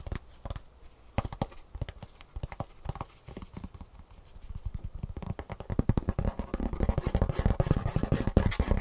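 Fingertips and nails quickly tap and scratch the underside of a shoe insole, a gray foam base with a green plastic heel cup fixed by rivets. The dull, low, dry taps come in a rapid, uneven stream with scratchy texture between them. They grow denser and louder toward the end.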